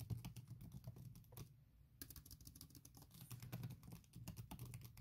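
Long nails tap fast across a thin printed silicone keyboard cover on MacBook Pro laptop keys, making a quick stream of soft, muffled clicks with a low, dull body and little brightness. The tapping pauses briefly around the middle before resuming at the same rapid pace.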